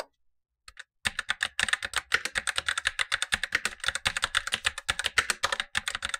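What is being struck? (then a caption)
Plastic mechanical keyboard. A Razer BlackWidow Lite tenkeyless mechanical keyboard with black plastic keycaps and tactile switches, the upper of two keyboards, is typed on with blue-gloved fingertips while the lower keyboard stays untouched. After a couple of faint taps, a steady run of rapid, crisp plastic clacks begins about a second in. The clacks are bright and dry with almost no low end and die away instantly.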